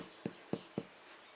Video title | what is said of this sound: How To Bake Focaccia: For Beginners and Foodies Alike! | give it a tap sounds hollow yeah